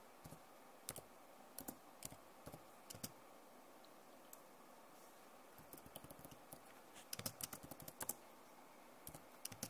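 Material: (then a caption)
Plastic. Fingertips and long nails type and tap rapidly on the plastic keys of an RGB-backlit keyboard on an Acer laptop. Quiet, dry, bright clicks come in irregular bursts with short pauses and die away instantly over a faint steady hiss, growing busier near the end.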